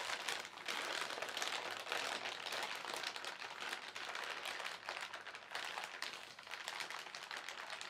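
A flat hand and fingertips rub, smooth and crumple the film of a thin, white, printed plastic shopping bag that is partly filled. The result is a steady, continuous crackling crinkle, bright and hissy, with almost no low end and only small swells in loudness.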